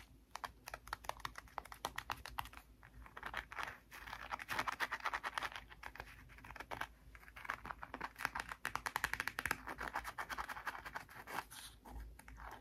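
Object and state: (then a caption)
Cardboard board book cover, scratched and tapped. Long nails scratch and tap the hard, glossy cardboard cover of a closed "Outer Space" touch-and-feel board book, near its red rubbery textured patch. Dozens of quick, dry, clicky taps run throughout, mixed with bursts of brighter scratchy rasping. Each sound dies away almost instantly, with little low end.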